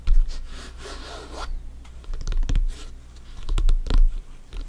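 Bare fingertips and short nails scratch and tap on top of a full-size, inflated, hollow soccer ball with stitched synthetic leather panels. A raspy scratching sound comes first, followed by a series of dull, low, hollow taps that die away quickly.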